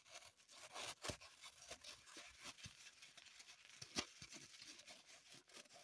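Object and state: Floral foam block being dug and crumbled.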